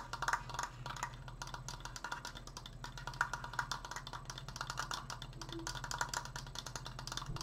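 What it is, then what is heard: Wooden decoration, tapped. Fingers tap rapidly and continuously on a wooden Triforce decoration, producing quick, dry wooden clicks with a tone around 1.4 kHz and almost no ring. A steady low hum runs underneath the tapping throughout.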